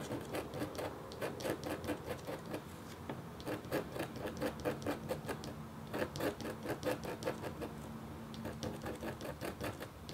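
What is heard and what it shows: The metal tip of a red stylus scratches a thin, solid, flat black-coated copper-foil scratch art board in short strokes. The result is a run of quick, dry, rasping scratches that come in bursts with brief pauses, with a faint steady low hum underneath.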